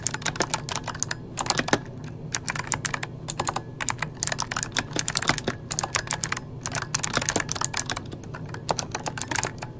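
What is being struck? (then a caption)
Plastic mechanical computer keyboard. A full-size backlit mechanical computer keyboard with plastic keycaps is typed on rapidly with the fingertips of both hands. The result is a steady stream of short, bright, clicky key taps with very little ring, over a faint low hum.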